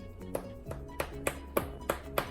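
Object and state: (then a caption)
Hollow-sounding baked bread loaf. A freshly baked no-knead bread loaf on a cooling rack is tapped several times, giving short, dry, hollow knocks with a mid-pitched tone that die away almost instantly. The hollow sound shows the loaf is baked through.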